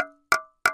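Freshly baked hardtack biscuit is tapped on a table three times to show how hard it is. Each tap gives a sharp, bright, almost bell-like clack with a short ring. The biscuit is rock hard, too tough to bite, and would need to be dipped in liquid.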